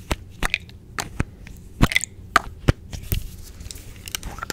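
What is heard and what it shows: Long nails tap, scratch and click the yellow plastic cap of a small, hollow white plastic sunscreen squeeze tube. The result is a series of sharp, dry clicks and cracks with brief bright scratching between them, each sound dying away almost instantly.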